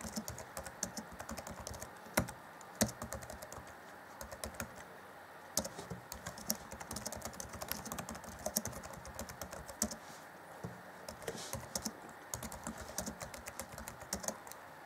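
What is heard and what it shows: Fingertips of both hands type on the black plastic chiclet keys of an Acer Chromebook C20 (2014) laptop keyboard. The result is a steady stream of quick, dry, clicky taps with a bright edge and almost no ring, with a few sharper, louder strikes standing out.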